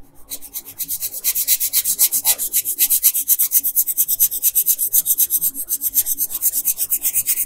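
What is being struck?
Wooden colored pencil on a thin paper sheet.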